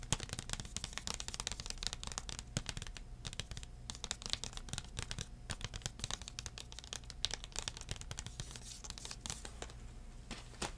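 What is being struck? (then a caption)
Thin plastic CD case. A thin plastic CD case is tapped rapidly with fingertips, first held upright and then held flat. The result is a quiet, continuous stream of short, dry, bright clicks and crinkly taps that stop almost instantly, over a steady low hum.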